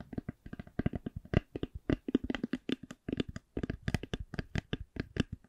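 Long nails tap and scratch a hollow, black faux leather-covered hard eyeglass case, making 27 quick, dull taps with brief scratchy textures. The sound is soft and low-heavy, with each hit dying out almost at once and no ringing.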